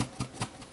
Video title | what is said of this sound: Fresh Apple Cake with Raisons...or not | you can hear it coming loose